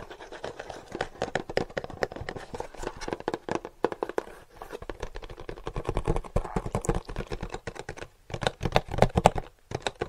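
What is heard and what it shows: A small, light-blue printed cardboard charger box, hollow and closed, is held up in one hand and tapped rapidly with the fingertips of the other hand. The result is a fast, steady stream of dry, hollow, papery taps with no ring after each hit. The taps briefly pause around the middle and again near the end before the tapping resumes.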